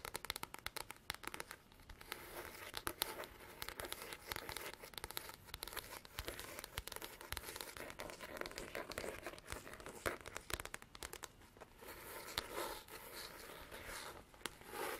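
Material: Faux leather.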